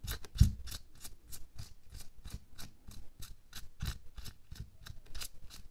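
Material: Latex.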